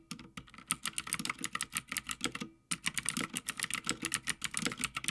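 Fingertips of both hands type continuously on a full-size backlit Havit mechanical gaming keyboard with plastic keycaps on a metal top plate. The result is a rapid stream of sharp, bright clicks and clacks with very short ring and a low thud beneath, broken by a brief pause midway before the typing resumes.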